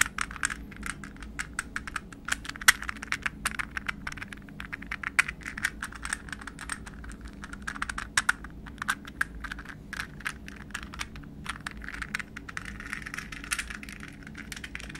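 A hollow, translucent green plastic puzzle ball, palm-sized, is held in the hands and tapped and scratched with fingernails. It makes a steady stream of quick, dry, bright plastic clicks and ticks, centred around 1.9 kHz, that die away almost instantly. Soft scratching fills the gaps, over a low constant hum.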